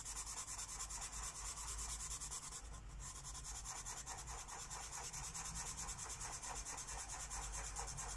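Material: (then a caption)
Paper. A lime-green felt-tip Sharpie marker rubs quick back-and-forth strokes across a thin white paper coloring book page resting on a wooden table. The result is a continuous, bright scratchy rubbing with a steady rhythmic pulse and a low underlying rumble.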